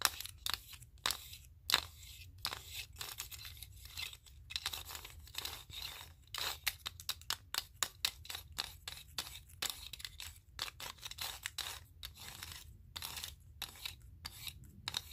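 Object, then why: Wooden clothespins with metal springs. Fingers flick and rattle the loose pins along the edges of a hand-sized mat made of many wooden clothespins with small metal springs, clipped together. The result is a steady run of sharp, bright, dry clicks with brief rattling and shaking in between, each tick ending almost instantly.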